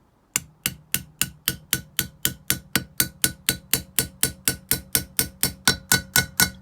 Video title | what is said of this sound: OPEL Z20LET HEAD GASKET FAILURE & How To Fix It YOURSELF! | if you listen carefully you hear the note change when i tap on this stem seal